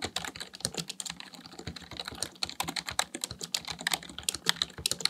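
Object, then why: Plastic computer keyboard. Fingertips type rapidly on the keys of a black plastic full-size computer keyboard resting on a desk. The result is a fast, uneven stream of short, bright plastic clicks and clacks that stop almost instantly, with little low end.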